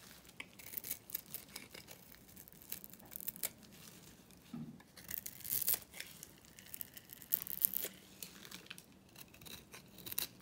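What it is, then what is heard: Dry bar soap being scraped. A small metal blade dice-cuts a dry, solid lilac Korean lavender bar soap held in the palm, scraping off cubes and flakes. The quiet, bright, crisp scraping and cutting strokes come in a steady string of short bursts, with a few louder strokes in the middle and near the end.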